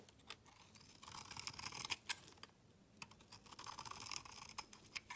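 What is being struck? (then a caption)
Soap bar shaved with a metal blade. A metal utility knife blade shaves a solid white bar of soap with a green-edged rim, held in hand, into flaky shavings. Bright, crisp scraping strokes come in quick bursts with short ticks and brief pauses between passes. There is almost no low end.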